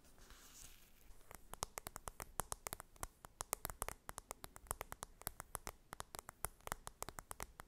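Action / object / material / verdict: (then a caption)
tap / cardboard makeup palette / cardboard / none. Long red nails tap rapidly on the top edge of the upright cardboard lid of an open blush palette with powder pans. After about a second of soft, hissy rustling, dozens of short, dry clicks follow in an uneven, quick rhythm, each dying away almost instantly.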